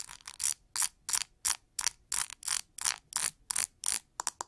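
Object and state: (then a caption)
Plastic paddle hair brush. Long nails strum and scratch across the pin bristles on the cushion of a pink plastic oval paddle hair brush. The result is a quick, fairly steady series of short, bright, crackly rasps with almost no low end.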